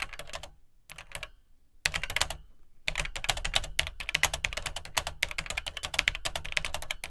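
Fingertips type on the dark plastic keycaps of an Atari 800XL home computer, whose hollow plastic case sits beneath the keys. Short bursts of bright, crisp clicks with a dull low thump are broken by brief pauses, then settle into steady, rapid typing to the end. Each keystroke ends almost at once.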